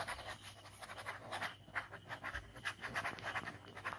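A ballpoint pen scribbles fast strokes across a white paper sketchbook page bearing an ink skull drawing. The result is a rapid series of short, dry scratching bursts, concentrated in the midrange around 1.7 kHz with a bright, hissy edge and little low end.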